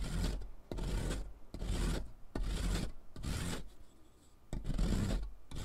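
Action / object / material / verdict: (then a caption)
scrape / sidewalk chalk stick on metal mesh rasp / chalk / none. A thick, solid, blue sidewalk chalk stick is held by hand and grated across a metal mesh rasp lying on cardboard, leaving blue powder beside earlier pink powder. Repeated gritty, rasping scrapes come in bursts separated by brief pauses, with a rough low rumble and a bright, hissy edge.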